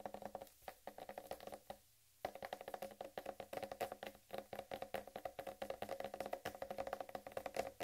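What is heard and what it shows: A large, whole, uncut watermelon with a green striped rind is tapped and scratched with long red nails from both hands. Quick, dry, hollow taps with a mid-range tone fall in rapid, uneven bursts, with a brief pause near two seconds before the tapping resumes.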